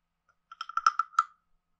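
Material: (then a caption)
Wood. A wooden stick taps a hand-sized, carved, hollow wooden frog guiro with a ridged back, producing a quick run of short, dry, hollow knocks. The knocks have a woody tone around 1.3 kHz, with brief bright overtones and almost no ring.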